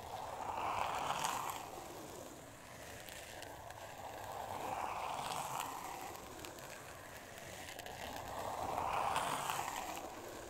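Long nails scratch across a thin, solid, flat pink board covered in glitter-textured paper. A steady gritty rasp centered around 1 kHz with a faint bright hiss rises and falls in three slow swells as the nails move back and forth over the surface.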